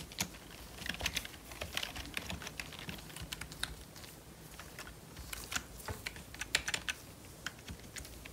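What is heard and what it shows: Gloved fingertips type steadily on the keys of a full-size, hollow, black plastic membrane computer keyboard. The keystrokes are quiet, dry, bright taps with almost no ring, coming in quick irregular bursts over a faint low hum.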